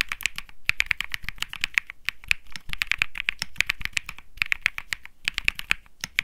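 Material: Plastic.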